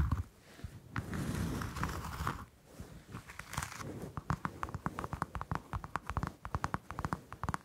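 Long acrylic nails scratch and tap the peel of a whole orange held in the hand. A soft, close, low-heavy scratching and rubbing comes first, then a quick series of light, crisp taps with faint crinkly texture.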